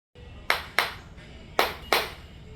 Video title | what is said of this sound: Why Floor Tiles Sound Hollow? - Expert Tips to Fix Tile & Avoid tiling Mistakes | Hollowness में sound कैसे आएगी? जैसे नीचे खाली हो